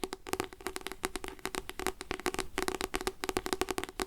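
Fingers tap steadily on a paper devotional book, *Light to My Path*, producing a quick, continuous series of short, dry taps with a faint hollow tone around 370 Hz. Each tap stops almost instantly, with bright clicky edges and little low-end weight.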